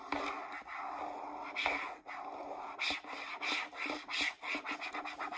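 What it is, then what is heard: Plastic shampoo bottle scratched with nails. Long acrylic nails rub and scratch the label side and flip cap of a hollow, medium-size green plastic Pert shampoo bottle. A steady, bright scratching hiss gives way to a series of short, separate scraping bursts, mostly in the upper frequencies.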